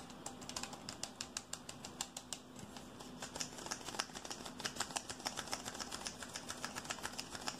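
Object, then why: Aluminium aerosol can with plastic cap. A hand-sized, hollow, red aluminium aerosol deodorant can with a red plastic cap is tapped and scratched rapidly with fingertips and nails along its body and cap. Dozens of quick, dry, bright clicks sound over a steady scratchy hiss, each tap dying away almost instantly. The taps grow slightly sharper and more regular in the second half.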